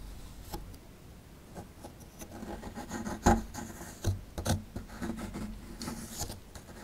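A metal pick tool scrapes at a small solid plaster excavation block held in the hand. It makes soft, dry rasping and rubbing strokes, with a few sharper scratches and clicks standing out near the middle before the scraping settles back to a quiet, steady grind.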